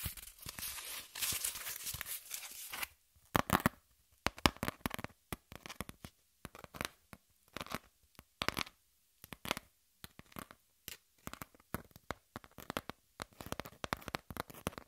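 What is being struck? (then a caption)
Corrugated cardboard sheet. Long nails scratch the flat surface of a brown corrugated cardboard piece. A steady, raspy scratching runs for about three seconds, then breaks into many short, dry strokes with brief silences between them. Each stroke has a bright, papery edge and dies away almost at once.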